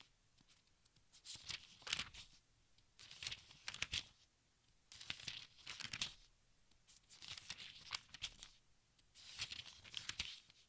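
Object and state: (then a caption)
Thin-paper book pages being turned. Fingertips brush and flip the thin paper pages of a large open textbook, producing soft, bright crinkling and rustling. Five separate bursts of page-turning rise out of near silence, each a quick cluster of papery crackles with almost no low end.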